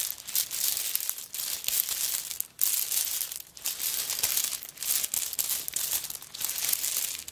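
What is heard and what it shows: A handbag covered in coconut shell chips is held in the hand while long nails scratch across the shell chips. The sound is a dry, bright, crinkly scraping that comes in continuous bursts separated by brief pauses, with almost no low end.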